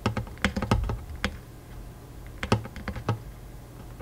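Fingertips of both hands tap quickly on the strings of a Taylor acoustic guitar with a hollow wooden body, near the soundhole and fretboard. About thirteen short, soft taps land in two quick clusters separated by a quiet pause. Each tap carries a low, woody body thump around 113 Hz and fades almost at once.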